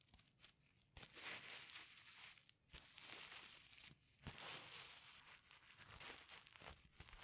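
Fingers swipe back and forth across the reversible sequins covering a flat pencil case. The result is a run of bright, crinkly rustling swishes with most of the energy in the highs. The swipes come in uneven surges with short quieter gaps between them.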